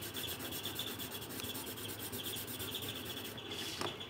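A pink pencil held in the fingertips is rubbed over a thin paper colouring sheet lying on a table while colouring. It makes a steady, bright scratchy rubbing of rapid back-and-forth strokes that continues evenly throughout, with a faint high tone running underneath.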